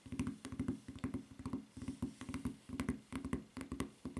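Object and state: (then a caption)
Rubber flip-flop tapped with fingernails. Long nails tap quickly on a white rubber flip-flop footbed with red print and strap. The clicks are dull, short and low-pitched, coming in uneven bursts with almost no ring.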